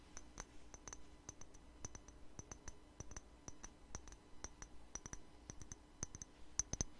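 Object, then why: Small glass spray bottle with liquid. Fingernails tap on a small clear glass spray bottle with liquid inside, held in the hand. The result is a quiet, uneven series of short, bright clicks with a faint high glassy ping that dies away almost at once. A soft low hum sits steadily underneath.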